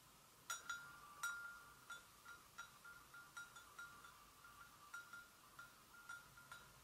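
Long nails gently tap the sides of an empty, hollow white porcelain gravy boat in a quiet, irregular series. Each tap gives a light, glassy click with a short ringing tone around 1.4 kHz and a bright, high edge, fading within about a third of a second.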